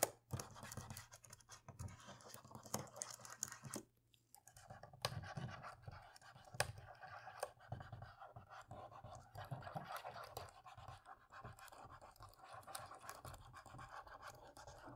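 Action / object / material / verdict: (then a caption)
scrape / plastic laptop keyboard keys / plastic / none. A cotton swab scrubs and scratches across the dark plastic keys of a dirty laptop keyboard. The result is a steady, quiet, dry rasping broken by small sharp ticks and clicks, with a brief pause near the four-second mark before the scrubbing resumes.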